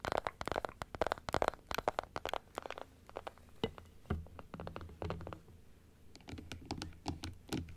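Long acrylic nail tips tap and scratch across the rows of plastic teeth on a hollow plastic dental model, first turned sideways and then held upright. Quick, dry, clicky taps come in dense bursts with a mid-pitched hollow knock. Later passages are quieter, with softer scratching and low thumps between the taps.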